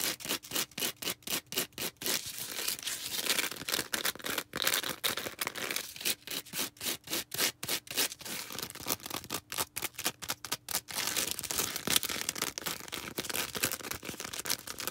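Long red nails squeeze and scratch a small star-shaped green foam sponge. Rapid, dry, bright scratchy bursts alternate with stretches of denser continuous rubbing, with almost no low end and no ring after each stroke.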